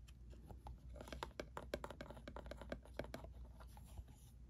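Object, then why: Small printed cardboard box. A small printed cardboard ink cartridge box is held close in both hands while fingertips and nails tap and scratch its faces. Quick, irregular dry taps with a hollow papery knock around 590 Hz mix with soft scratching over a steady low hum.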